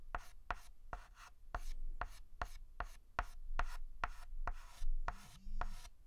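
A white chalk stick makes rapid, short hatching strokes on a large, flat blackboard, each stroke a sharp tap followed by a brief, bright scratch. The strokes come in a steady, quick rhythm, with a faint low tone heard briefly near the end.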